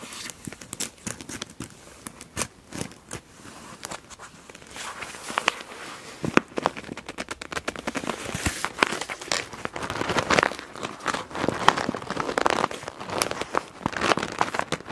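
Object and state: PVC pouch full of felt-tip markers.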